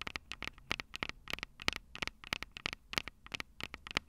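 Long purple nails tap and lightly scratch the metal microphone capsules on a Tascam DR-05 recorder. The result is a quick run of sharp, bright clicks, about twenty of them, with light scratchy texture between and almost no ring after each hit.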